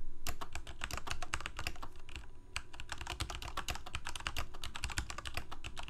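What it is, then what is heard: Plastic mechanical keyboard. Continuous typing with the fingertips of both hands on a full-size black plastic Corsair K68 gaming keyboard with backlit keycaps, Cherry MX Red switches and a hollow plastic case. Rapid, irregular clicky keystrokes with bright transient edges ride over a low, hollow thump from the case.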